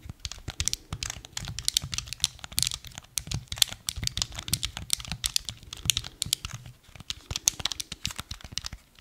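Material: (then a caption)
Plastic. Fingertips and nails rapidly tap and scratch the body and buttons of a small, hollow, black hard-plastic Nintendo Wii remote held in both hands. The result is a dense run of dry, bright clicks and scratchy rustles, each dying instantly with no ring, over a faint low rumble.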